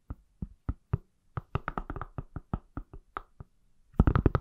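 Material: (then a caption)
Silicone. An iPhone in a pale silicone or plastic case, palm-sized and solid, is tapped with fingertips and nails. The result is a series of short, dull, low-heavy knocks with almost no ring, spaced apart at first, then quickening into a louder, denser flurry at the end.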